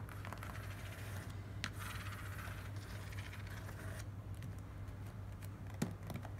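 Long nails tap and scratch across a small, closed, hollow corrugated cardboard box, then pick at its seam near the end. Soft, dry scratching and light tapping sit over a steady low hum, with a few sharper clicks standing out near the end.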